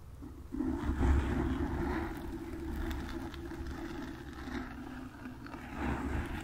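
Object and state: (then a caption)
Foam microphone windscreen being scratched. Long nails lightly scratch the top and sides of a black foam windscreen on a desktop microphone. The result is a continuous, muffled, low rumbling scrape with a hum-like band around 300 Hz and little high or bright content, swelling and easing as the nails move.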